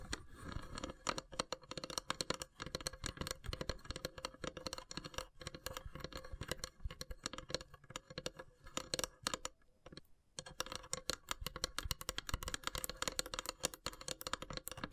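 Long grey nails tap and scratch the top of a carved, perforated lid on a long, narrow, hollow wooden incense box. The result is a dense run of quick, dry clicks and scrapes with almost no ring and a steady tone near 500 Hz. The sound breaks off briefly near the ten-second mark, then resumes.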